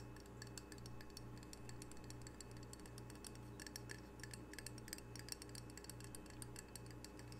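A small, solid, square glazed ceramic coaster with an octopus print is held in the hand and tapped quickly with long fingernails. The result is a rapid, uneven run of crisp, bright clicks that stop dead with no ring, over a quiet, steady low hum.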